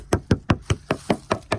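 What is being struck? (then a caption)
Wood siding. The plastic handle end of a screwdriver taps older wood siding near its bottom edge, sounding it for termite damage. Eight short, dull, low knocks come in an even rhythm about a fifth of a second apart, each dying away almost at once.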